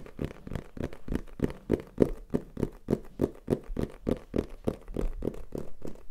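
A small black printed cardboard retail box for a Tascam recorder, either hollow or holding the device, is held in the hand and rapidly tapped and scratched with fingertips and nails. About 24 quick, dull, hollow taps fall at an uneven pace, each with a soft papery scrape and no ring, and they stay mostly low-to-mid in tone with no bright highs.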